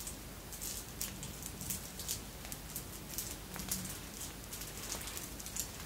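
A long necklace of red and clear beads, apparently glass, with metal links is held dangling and moved with the fingertips so the beads clink together. Quiet, bright, short clicks and tinkles come in an irregular run over a steady low background hiss.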